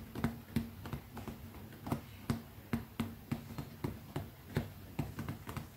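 Long fingernails tap rapidly on the top of a small, closed, black textured leather zippered manicure pouch held flat in one palm. The result is a quick, uneven run of short, dull taps with a soft, low body around 230 Hz, each dying away almost at once, with very little high-end click.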